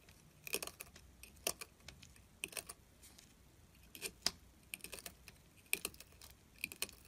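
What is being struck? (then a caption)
Glycerin soap bar scraped with a metal tool. A metal carving tool scratches fine ridged shavings from the edge of a solid orange glycerin soap bar held in hand. Quiet, bright, crisp scraping ticks come in short clustered bursts separated by near silence, each dying away almost instantly.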